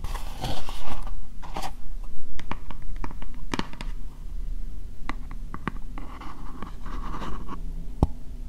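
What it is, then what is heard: Plastic bowl tapped and scratched with nails. Long nails tap and scratch an empty, hollow, translucent pink plastic bowl. Brisk scratching bursts alternate with sharp, irregular taps that ring only briefly, over a steady low rumble.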